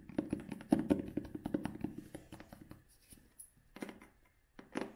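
Long nails scratch the cloth cover of a vintage hardcover book held in both hands, making a dense run of quick, dry rasping strokes for about three seconds. The strokes then thin out into a few short scratching bursts separated by near silence.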